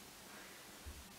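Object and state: Nothing is struck.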